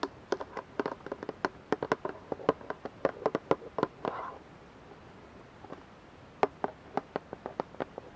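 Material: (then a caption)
Plastic. Fingertips and nails tap a clear plastic dish soap bottle, held upright and partly filled with liquid, striking both the bottle and its label. Quick, dry, hollow taps with almost no ring sound in a fast irregular run, broken by a brief rubbing burst and a quiet pause before a sparser final run of taps.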